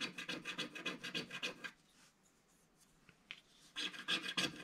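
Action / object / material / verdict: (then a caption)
scrape / wax-coated scratch-art card scratched with a wooden stick / coated card / none. A wooden stick scratches fine lines into the coating of a flat, solid, black-coated scratch-art card page. Quick, bright, rasping strokes repeat in a steady rhythm, then pause to near silence. A few faint scrapes follow before the scratching resumes.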